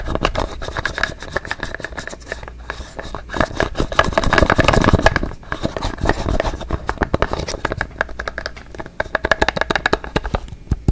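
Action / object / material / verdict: scrape / plastic toothpaste tube / plastic / none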